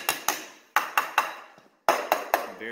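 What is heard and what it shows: Eight sharp taps on a concrete slab floor near a load-bearing wall, each a short, bright, hollow-sounding knock with a midrange ring that dies away quickly, in three groups separated by brief pauses. The slab sounds hollow there, unlike the denser area farther out, which points to a missing footing under the wall.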